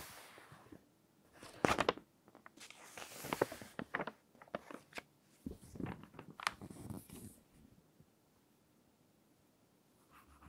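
Fingertips rest on and rub the page of an open glossy fashion magazine, then long nails lift and turn the thin paper page. Soft scratchy rubbing gives way to bright, crisp crinkles and rustles as the page flexes over. The sound settles into near silence with a faint rustle at the end.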